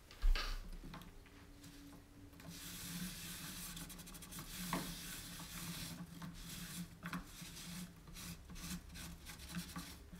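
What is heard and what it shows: A round, shallow, white-painted distressed wooden tray with a carved lattice centre sits empty on a wooden table and is wiped and rubbed with a cloth held in the fingers. A sharp knock opens the clip, followed by steady, bright rubbing and swishing strokes over a low, constant hum.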